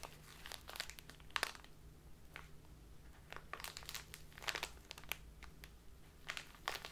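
Fingertips and long nails crumple and crinkle a full plastic bag of dark loose tea. Bright, crackling bursts come in irregular clusters over a faint, steady low hum, each crackle dying away almost instantly.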